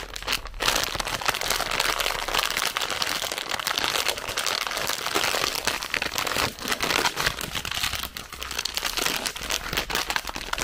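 A full, red printed plastic film bag of zefir (marshmallow sweets) is crinkled and squeezed with fingertips and long nails. The dense, bright crinkling and crackling runs steadily for about ten seconds, with a brief lull near the eight-second mark before it picks up again.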